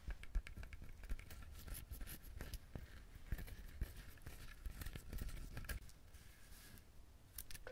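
Fingernails scratch and tap the hard, fibrous shell of a whole coconut, its three eyes visible, held close to the mic. Quick, dry, close-miked taps fall over a continuous scratchy rustle, with a heavy low thump beneath and bright clicks on the sharper strikes.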